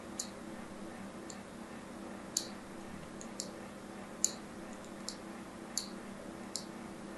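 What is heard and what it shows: A solid white ribbed bar of soap, held in hand, is scored near its edge with a thin tool. Nine short, bright, crisp scratching clicks are heard at irregular intervals, each dying away almost at once over a faint, steady low hum.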